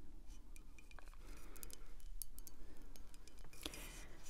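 A full-size dark glass wine bottle, full and held tilted, is tapped and scratched by long acrylic nails on the glass and on its paper back label. Quick, uneven clicking taps and soft scratchy rasps sit over a steady low rumble, with a few bright glassy clinks that die away almost at once.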